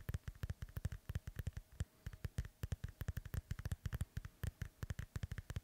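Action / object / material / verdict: tap / inflated synthetic leather soccer ball / synthetic leather / none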